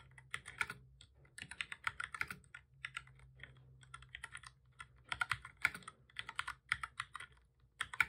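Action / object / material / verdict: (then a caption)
tap / plastic computer keyboard / plastic / none. Both hands type steadily with their fingertips on a full-size black plastic keyboard with a hollow body, resting on a desk. Quick, bright plastic clicks come in irregular bursts separated by short pauses, each tap dying away almost instantly. A faint low hum sits underneath.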